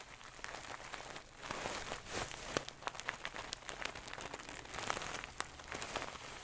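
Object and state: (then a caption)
Satin-covered stuffed pillow. Long nails scratch across the shiny gold satin cover of a medium-soft stuffed pillow held close to the mic. The result is a soft, bright, hissing rustle broken by many quick, crisp scratchy ticks, with quieter pauses between strokes.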